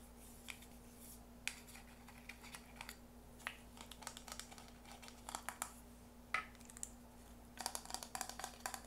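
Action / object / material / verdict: tap / plastic ring-shaped container / plastic / none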